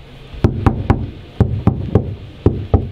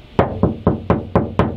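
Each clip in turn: First: damped car body panel with sound deadener. Second: undamped, resonant steel car body panel.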